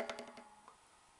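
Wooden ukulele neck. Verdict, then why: Less hollow. Five light taps on a wooden ukulele neck, further up from the body, give short, dry wood-block-like knocks around 660 Hz with little ring. The neck sounds less hollow than the body.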